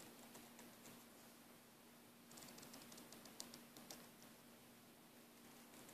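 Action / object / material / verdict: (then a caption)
scrape / braided nylon air hose / nylon braid / none. A thumbnail and fingers scratch and rub along the braid of a green braided nylon air hose, making quiet, irregular, bright scratchy ticks over a soft hiss. A steady low hum sits underneath, and the scratching gets a little busier and louder in the middle of the clip.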